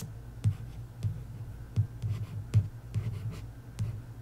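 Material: Card.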